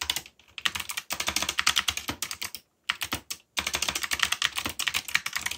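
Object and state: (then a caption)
Mechanical keyboard with plastic keycaps. Fast fingertip typing, one finger bandaged, on a full-size backlit mechanical keyboard with black plastic keycaps, yellow backlight and Korean/English legends. Rapid bursts of bright, clicky key taps run with short pauses between them, each tap dying away almost instantly.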